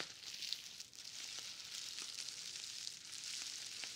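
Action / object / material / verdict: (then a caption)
scrape / plastic bubble wrap roll / plastic / none. A large roll of plastic bubble wrap with a green paper label is held in both hands and handled so the wrap crinkles, by someone also wearing a bubble wrap hood. A steady, high, hissy crinkle fills the clip, dotted with faint sharp ticks and almost no low end.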